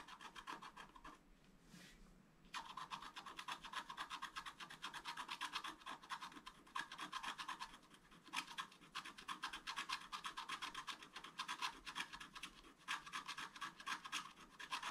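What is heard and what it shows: A wooden stylus makes rapid, dense scratching strokes across a thin, solid, black-coated scratch-art paper sheet lying flat on a table. The sound is a dry, bright rasp with energy concentrated high, in steady bursts of strokes. There is a brief quieter pause near the start before continuous scratching resumes.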